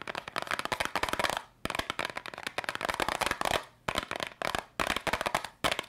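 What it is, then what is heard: Cardboard candy box tapped with fingernails. A small yellow cardboard candy box, held up in both hands, is tapped rapidly with long pink nails. Quick bursts of crisp, dry clicking taps come in dense clusters separated by brief pauses. The sound is bright and crackly, with almost no low end.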